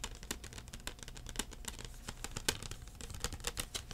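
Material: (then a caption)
Plastic. Fingertips tap a thin plastic CD case, first held upright and then held flat, making a quick, irregular run of dry, light clicks. Each tap is short and bright with almost no ring. A faint low hum sits underneath.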